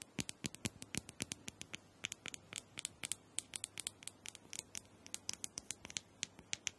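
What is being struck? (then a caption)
Small hollow plastic dome massager. Long nails scratch and tap the surface of a small, hollow, purple plastic dome massager held in the hand. About forty quick, dry, bright clicks and scratches come in an irregular patter, each dying away almost instantly, with little low end and a quiet overall level.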